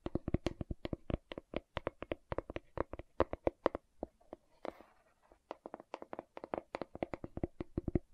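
Long nails tap rapidly on the lid and side of a large, round, hollow green plastic aloe vera gel jar, making a fast run of short, dry, hollow clicks with a mid-pitched body and bright tips. About halfway through, the taps pause briefly for a soft scratchy brush before the tapping resumes.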